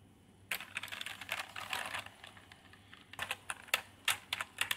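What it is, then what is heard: Plastic keyboard being typed on. Fingertips type on a backlit plastic gaming keyboard with purple lighting and plastic keycaps on a plastic body. After a brief near-silence, a fast run of bright, clicky keystrokes blurs together, then eases into a quieter stretch. A series of sharper, separate clacks follows, each short and dry with almost no low end.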